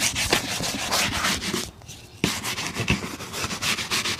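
A brown leather boot is brushed quickly with a bristle shoe brush, producing rapid, bright, scratchy strokes with a dry hiss. The brushing pauses briefly midway, then resumes with a sharp stroke and continues at the same brisk pace.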